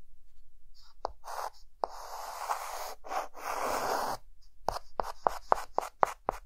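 A hand adds short hatching strokes with a white chalk stick on a dark green chalkboard. Longer, dry scratching passes give way to a quick, uneven series of brief, sharp chalk strokes. The strokes have a bright, gritty edge.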